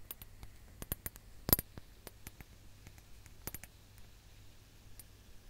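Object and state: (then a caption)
Glass hourglass. A ribbed glass hourglass held upright has its lower bulb tapped with long nails, producing about twelve sharp, bright clicks with almost no ring, spread irregularly over the clip. The loudest tap lands near the middle of the first second and a half, and a faint low hum sits underneath throughout.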